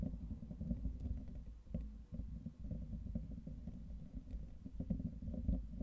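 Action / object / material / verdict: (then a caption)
scrape / wire-mesh microphone grille / metal mesh / none. Fingertips of both hands continuously scratch and rub the hollow, fist-sized metal wire-mesh grille of a microphone. The result is a dense, muffled, low rumbling scrape with almost no bright content, rising and falling in loudness with brief dips throughout.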